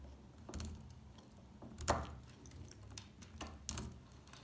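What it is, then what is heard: Dry soap bar. A metal pick chips flakes off the edge of a dry, solid beige bar of soap. Short, dry crunching clicks and scrapes come at uneven intervals over a low, steady background hum. The sharpest snap lands just before the two-second mark.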